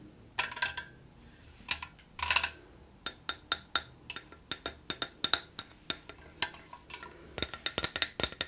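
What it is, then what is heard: Metal wire cage lamp. A rose-gold metal wire geometric cage lamp with a handle and a lit glass bulb inside, open and hollow, has its wire frame tapped and scratched with long nails. Many short, bright metallic clinks and ticks follow one another in quick, uneven bursts. They fade almost instantly and carry no low end.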